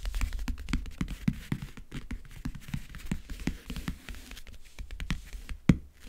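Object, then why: Faux leather covered backgammon case. Fingernails tap, grip and scratch the lid of a closed, hollow backgammon case covered in map-print faux leather (leatherette). A rapid run of short, dry, hollow taps sits mostly in the low range, mixed with faint scratchy texture. One sharper, louder tap stands out near the end.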